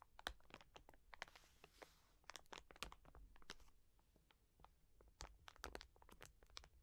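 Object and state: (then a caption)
Plastic wet wipes packet. A soft, full plastic wet wipes pack about 20 cm long lies on a fleece surface while long nails scratch and tap its crinkly plastic film. Quiet, rapid clicks and crisp crinkles come in dense bursts, with a brief soft hiss of scratching partway through, over a low rumble.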